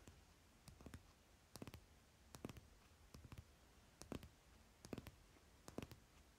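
Fingertips and nails rapidly tap the top card of a stack of paper playing cards lying on fabric. Quiet, dry clicks come in quick bursts of two to four taps, separated by short pauses over about six seconds.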